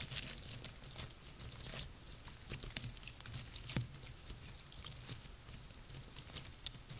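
Long nails scratch and tap the woody scales of a cluster of dry pine cones resting on a table. Dry, crackly scratching runs throughout, with a bright hiss and quick, sharp clicks that die away at once. Underneath sits a steady low hum.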